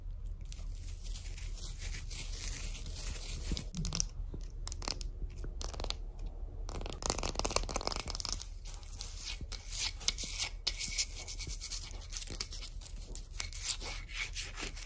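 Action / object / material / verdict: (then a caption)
tap / wooden-backed shoe polishing brush / wood / none. Long acrylic nails briefly brush the dark bristles of a hand-held wooden shoe polishing brush, then tap and scratch across its solid wooden back. A dense, steady stream of crisp, dry clicks and bright scratchy rasps follows, with a few sharper taps standing out. Each sound stops dead with no ring.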